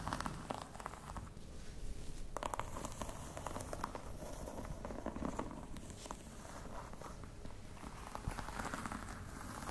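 Long nails tap across the top and front edge of a croc-embossed faux leather box. The result is a quiet, steady stream of soft, dense taps with a crinkly, rustling texture and little high-frequency brightness.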